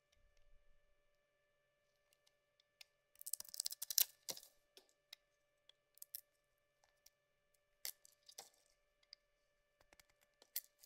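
A small metal blade carves long peels off the edge of a solid yellow bar of soap. Quiet, bright, crisp scraping and clicking cuts come in irregular bursts, with a denser run of scraping in the middle of the clip. The cuts are short and dry with almost no ring, separated by near-silence.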